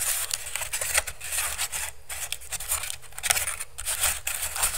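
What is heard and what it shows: Fingertips and nails quickly tap and scratch the weave of a hollow, empty pink woven bamboo basket held over the microphone. The result is a dense, continuous stream of bright, crackly scratching and rapid clicks over a low, hollow thumping.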